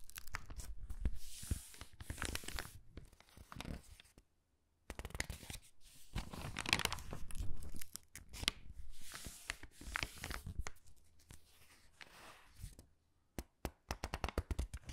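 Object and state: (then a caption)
Paper catalog pages rubbed and turned. Palms and fingertips rub and press the pages of a thin, glossy paper gift catalog lying open flat, then turn them. Dry, crinkling rustles and tearing-like swishes come in bursts with soft, low thumps underneath, broken by a brief near-silent pause. Quick, sharp paper ticks follow as the pages are turned.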